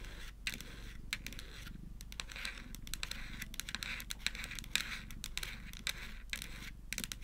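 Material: Plastic.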